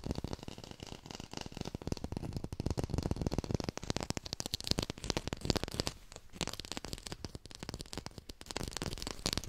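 A textured artificial plastic lime is tapped quickly with fingertips, recorded with a hi-fi microphone. A dense, continuous stream of dry, crackly taps with a soft low thump and bright clicky edges, each one stopping almost instantly with no ring.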